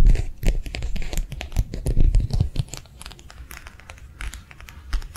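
A thin, flexible matte plastic sheet, held edge-on between the fingers, is tapped and flicked with long nails. The result is a fast, uneven stream of short, dry clicks and crinkly flicks over soft low thumps. The taps are louder and busier in the first half, then settle into quieter ticking.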